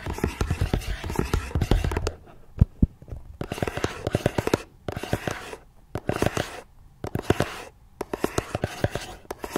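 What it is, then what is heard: Cardboard gift box, scratched and tapped with nails. Long nails scratch and tap the sides of a small, hollow, red and white patterned cardboard gift box resting on a tablet. Bursts of dry scratching are mixed with quick, sharp taps that die away instantly, broken by short quiet gaps. The sound is dull and hollow, weighted toward the low end.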